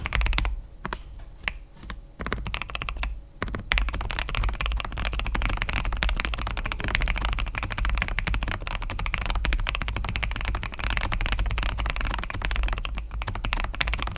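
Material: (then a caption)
Plastic. Fingertips of both hands type rapidly on an assembled KBD67 Lite R3 65% mechanical keyboard with a plastic case, grey and red plastic keycaps and red backlight. A few scattered keystrokes at first give way to a dense, continuous stream of clacky, short-ringing key hits over a steady low hum.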